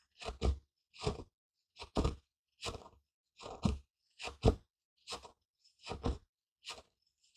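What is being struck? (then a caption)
Wooden mortar and pestle with seeds. A wooden pestle gripped in a fist grinds and presses brownish crushed seeds or grain in a small, light, hollow wooden mortar held in one hand. About fifteen dry, low crunches come in short bursts, often in pairs, separated by brief silences.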